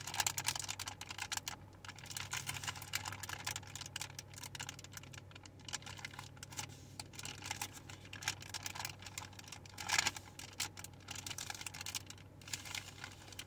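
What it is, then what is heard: Plastic baby wipes pack. A full soft plastic pouch of baby wet wipes with a white plastic flip lid is held in both hands and tapped rapidly on the pouch and lid with long painted fingernails. The result is a dense, continuous stream of quick, bright, crinkly clicks with occasional louder taps, over a faint steady low hum.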